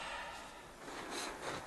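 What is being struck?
Nothing is struck.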